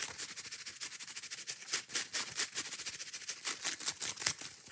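Long nails scratch a yellow foam kitchen sponge, first on its yellow foam face and then on its green abrasive scouring pad. The result is a fast, dense run of bright, hissy scratching strokes with almost no low end. Each stroke ends quickly in quick, uneven bursts.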